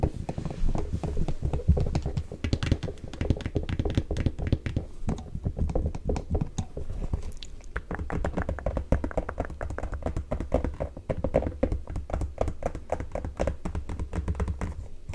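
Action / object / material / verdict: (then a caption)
tap / leather ankle boot / leather / none. A black leather ankle boot, held sideways to show the sole and heel, is tapped rapidly with long nails on the leather and the sole. The result is a dense, steady stream of short, dull, low-pitched taps that die away quickly, with softer clicky ticks mixed in throughout.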